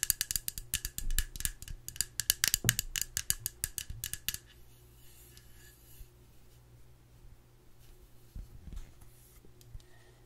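Long nails scratch and tap the white screw lid and sides of a small blue plastic face cream jar held in one hand. A fast run of bright, crisp clicks and scratches fills the first four and a half seconds, then gives way to softer, sparse taps over a steady low hum.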